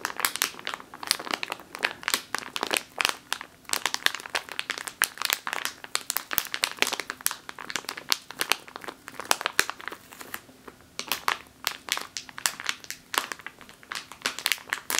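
Both hands grip a full plastic bag of flour while long nails scratch and squeeze it, producing continuous crisp, bright crinkling. Dense, quick snaps and rustles fill the whole clip, with no low rumble beneath them.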